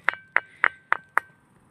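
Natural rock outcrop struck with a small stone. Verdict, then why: Ringing. A ringing rock outcrop on a hilltop at Badedongar, known locally as the tuntuni stone, is knocked five times with a small stone. Each strike gives a sharp, bright clink with a steady tone near 1.9 kHz that lingers faintly between hits.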